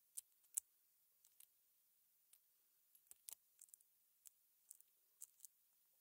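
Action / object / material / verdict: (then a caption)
drop / small hollow aluminium button shells on a plastic mat / aluminium / none. A gloved hand sets small hollow aluminum cover button blanks down one by one onto a plastic cutting mat. The result is a series of faint, light metallic clicks that are very bright and dry, with almost no ring, spaced across quiet pauses.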